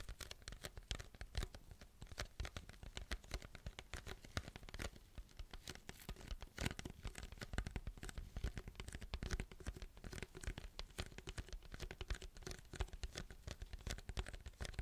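A large, hollow white paper fast-food drink cup with a plastic lid and straw is held close to the mic and tapped and scratched with fingertips and nails. Rapid, continuous taps and scratchy, crinkling strokes come through with a deep, thumpy low end and short, dry hits that stop almost instantly.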